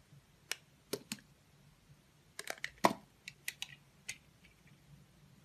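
A green-handled utility knife blade cuts and scrapes small slices from the surface of a solid, hand-sized oval blue Absolut bar soap held in the hand. About eleven short, crisp clicks and scrapes sound with brief bright crackle and almost no ring-out, against a quiet background.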